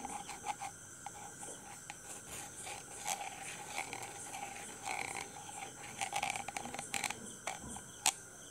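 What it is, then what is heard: Metal microphone mesh grille. A thin red stick taps and scratches across the hollow, rounded steel wire-mesh grille of a handheld dynamic microphone while a hand holds the mic body. Quiet, crisp clicks and scratchy, bright metallic rasps come in irregular bursts over a steady faint whine, with one sharper tap near the end.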